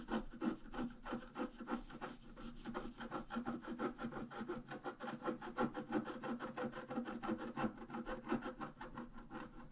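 A thin wooden stylus scratches the black coating off a flat, book-sized scratch-art page with colored foil underneath. The page lies on a table, held flat by one hand. Rapid, short, dry scraping strokes repeat in a steady rhythm of about three per second, with a papery rasp throughout.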